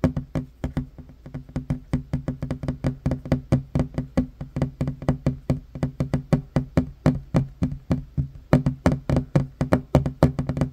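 Fast fingertip and short-nail tapping with one hand on a flat, solid wooden table top produces about 52 quick, dry knocks over roughly eleven seconds. Each tap is a low, hollow thud centred near 141 Hz with a brief bright click on top, dying away almost instantly.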